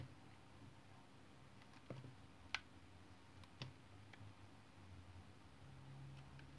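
A metal utility knife shaves thin curls from the face of a solid white soap bar held in the fingers. A few short, crisp scraping clicks stand out from a quiet, low steady hum, each dying away almost at once.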